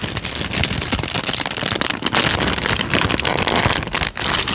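A thin tan paper sheet is bent, crinkled and then flattened with the fingers. Dense, bright crackling rustles on without a break for the whole clip, with only a brief dip in loudness near the end.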